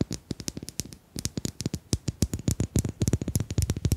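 Domino tiles are tapped in a rapid, irregular run of short, dry clicks over about four seconds, with a brief lull near the one-second mark before the taps grow louder and denser. Each tap dies away almost instantly, and a low, soft thump sits under the bright click.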